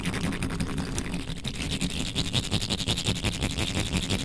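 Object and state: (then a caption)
Metal mesh microphone grille scratched. Long nails scratch aggressively near the top of the bare metal mesh grille on a black microphone. The result is a dense, fast, uneven stream of scraping strokes with a heavy low rumble and a bright, hissy edge.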